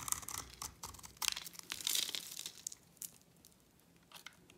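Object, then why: Bar of soap. A utility knife blade scrapes a solid white, dry bar of soap with a yellow coating, sending flakes falling. Rapid, crisp, bright scratching and crunching strokes come in dense bursts with almost no low end and no ring. The scraping thins out and grows quieter toward the end.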